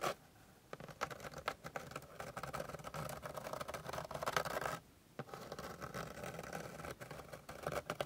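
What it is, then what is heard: Wooden board scratched with fingernails. Long pink glittery nails scratch rapidly with their tips across a flat, solid, light wooden board surface. The result is a dense, dry stream of quick scratching strokes concentrated in the midrange, with brief quiet gaps near the start and just before the five-second mark.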